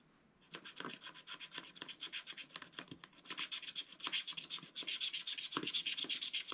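Fingertips rub back and forth across a flat, black-coated scratch art card, wearing the black coating off the background. After a brief quiet start, a rapid, fairly uneven series of dry, bright rasping strokes begins, almost entirely high-pitched with little low end, and grows louder in the second half.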